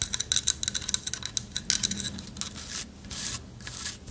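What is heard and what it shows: Long nails tap and scratch a light wood carved owl figurine with a hollow lattice body. Quick, dry, bright taps come first, then give way to a steadier high rasping scratch across the carved wood.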